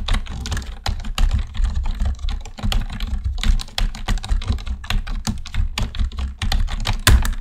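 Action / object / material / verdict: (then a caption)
tap / plastic computer keyboard / plastic / none. Both hands type with their fingertips on a black plastic computer keyboard, producing a quick, steady stream of short, dry clicks and taps with bright edges. A constant low hum sits underneath the whole take.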